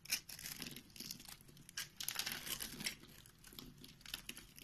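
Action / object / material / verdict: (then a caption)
scrape / bar of soap cut with a blade / soap / none. A box-cutter blade cuts along a pre-scored grid in a solid white bar of soap held in the hand, slicing off chunks. The sound is a series of bright, crisp scraping and crunching cuts with a dry, papery crackle, short bursts that swell and fade with almost no low end.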